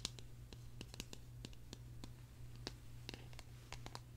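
A small, hollow, purple hard-plastic case shaped like a tulip is turned in the hands while long nails tap and scratch it. About sixteen sharp, dry, high clicks ring off almost at once over a steady low hum. Faint scratchy rustles fill the gaps between them.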